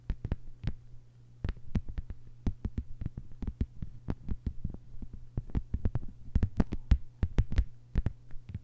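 Long white-polished nails on both hands tap a thin, solid, flat lime-green plastic cutting mat lying on a table. The result is a rapid, irregular patter of short, dull clicks with almost no ring, over a steady low hum.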